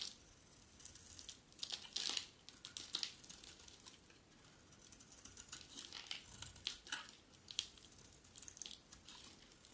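A metal utility blade scrapes curled shavings off a hand-sized solid bar of dry yellow soap held in the hand. The result is a quiet run of bright, dry, crinkly scraping strokes that rise and fall in short bursts, with almost no low end and no ring after each stroke.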